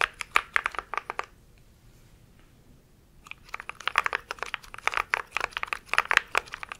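A compact mechanical keyboard with grey and white plastic keycaps is typed on rapidly with the fingertips of both hands. A quick run of sharp, bright plastic clacks stops for about two seconds of near silence, then resumes as a dense stream of uneven keystrokes to the end.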